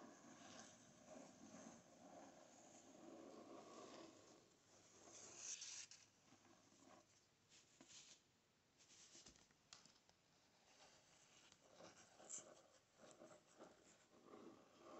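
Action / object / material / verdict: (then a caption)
scrape / hardcover book, paper-covered board / paper board / none. Fingertips and nails tap and scratch the cover and edge of a closed hardcover book with a paper-covered board. The quiet, bright, hissy scraping rises and falls, broken by soft, short taps.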